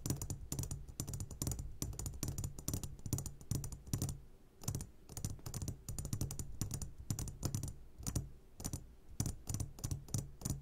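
A medium glass jar full of sugared gummy candies, turned upside down, is tapped on its sides with the short fingertips of both hands. Rapid, irregular clicking taps come in dense bursts with brief pauses, each hit short and bright over a low, steady hum around 105 Hz.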